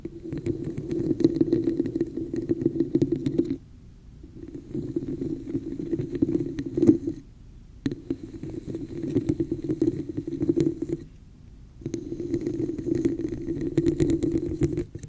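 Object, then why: Plastic cup. Long nails tap and scratch the sides of a hollow red plastic cup with an embossed textured pattern held over a microphone. The result is a dense, hollow, rumbling patter centered around 300 Hz, in four bursts separated by short quiet gaps.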